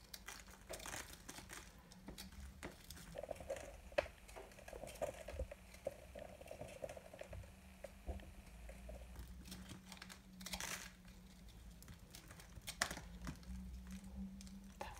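A solid, dry pastel soap ball held in the hand is shaved with a small knife into crunchy crumbs. Quiet, crisp scraping and crinkly crunches come in quick irregular strokes with dry, short clicks. A few brighter rasping swipes stand out over a steady low hum.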